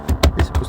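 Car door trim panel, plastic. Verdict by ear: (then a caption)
Tight. Knuckle knocks on the front passenger door trim panel of an Audi A6 C6, with music playing through its buzzing midrange speaker, produce a series of dull, short, low thuds with almost no bright content. The panel does not rattle and the buzz stays the same, pointing to the speaker itself rather than a loose door panel, so the speaker was replaced.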